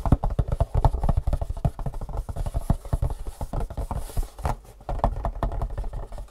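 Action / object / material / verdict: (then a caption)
tap / long cardboard box / cardboard / none. Fingertips and long nails rapidly tap and scratch the top face of a long, hollow, printed cardboard Superfeet shoe insole box lying on a table. The result is a dense run of quick, dry, low hollow thuds with soft scratchy rustles between them, and each tap dies away almost at once.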